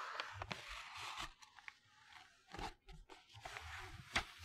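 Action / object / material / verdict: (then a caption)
flick / glossy paper magazine / paper / none. Fingertips flick and turn the pages of a colorful glossy paper magazine held to the left of the mic. Dry, bright paper rustles and crisp crackles come in bursts, with a few sharp flicks standing out, before the sound settles into a soft hiss.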